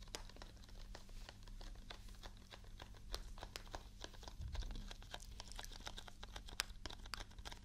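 A small printed paperboard juice carton, held close to the mic, is tapped and scratched with long nails. Quick, crisp clicks and dry scratching crinkles patter steadily at a quiet level over a low, steady hum.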